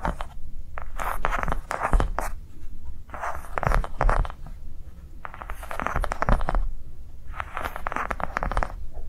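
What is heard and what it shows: A yellow-green ridged soft rubber sensory ball resting on a table is scratched and tapped across its ring ridges with long nails of both hands. Bursts of fast, dry scratching and clicking taps come in clusters, with a low rumble underneath and brief pauses between bursts.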